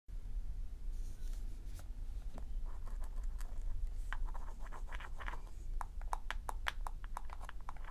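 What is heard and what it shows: Long acrylic nails tap and scratch the dried natural leaf facing on the hard cover of a small, closed, handmade paper notebook with a cloth-wrapped, twine-bound spine, lying flat on a dark table. Dry, crackly scratching gives way to a string of sharp, bright clicks from the nail taps over a steady low background hum.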